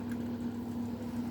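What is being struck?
Nothing is struck.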